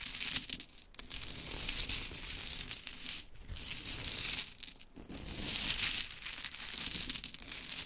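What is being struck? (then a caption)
Small wooden mini clothespins. Hands with long chrome nails scoop, rub and drop small solid pink wooden mini clothespins onto a pile resting on glitter fabric. The result is a continuous bright clatter and rustle of many small clicks, with brief quiet gaps near 1, 3.3 and 4.8 seconds.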